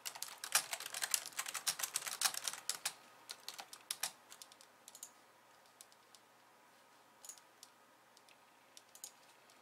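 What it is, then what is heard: Plastic computer keyboard. Long nails and fingertips type on a pink plastic slim keyboard with white keys, making quiet, bright, dry clicks with no low end. A dense, fast flurry of keystrokes fills the first three seconds, then thins into scattered single taps for the rest of the clip.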